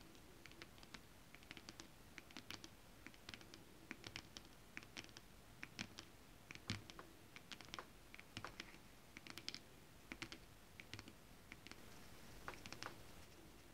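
Long acrylic nails scratch and tap on holographic mermaid scale fabric, a flat iridescent foil scale-print stretch fabric. The sound is a quiet, steady stream of quick, dry, bright clicks and scratches that die away almost instantly, over a low, constant background.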